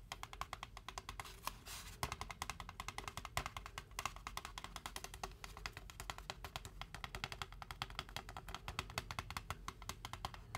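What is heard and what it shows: Fingertips tap quickly on the printed side wall of a large, hollow white styrofoam Braum's drink cup held in both hands, its contents not visible. The result is a fast, steady stream of dry, woodblock-like clicks with a hollow tone around 1 kHz and bright edges. Each tap dies away almost at once.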